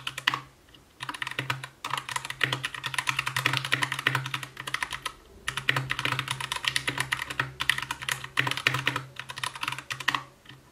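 Continuous typing with the fingertips of both hands on an Anne Pro 2 60% mechanical keyboard with white plastic keycaps, a translucent case, RGB backlight and Gateron brown switches. Rapid, bright plastic clicks and clacks come in fast bursts, with brief pauses near the one-, two-, five- and nine-second marks. Each keystroke is short and dry, with a faint low thud under the sharp tops.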